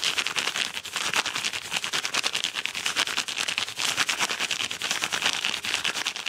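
Fingertips and painted nails scratch fast over the surface of a medium-size yellow Amazon kraft paper padded mailer, which sounds soft and hollow. A dense, bright, papery scratching goes on without pause, with quick irregular strokes that crackle and rasp with no low end.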